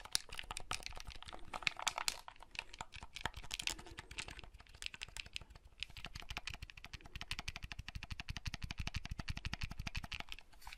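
Fingertips click the buttons and handle the hinge of a small, hollow, red plastic folding handheld console. The result is a rapid, steady stream of short, dry clicks with bright, crisp highs and a light low knock under each press, with no ring after any of them.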